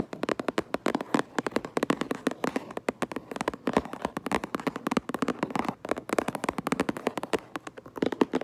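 Long nails tap rapidly across a cardboard Minecraft Lego box as it is turned from front to back. The taps are dense, dry and hollow-sounding, with short clicks centred in the low-mid range that die away almost instantly, and brief pauses between bursts.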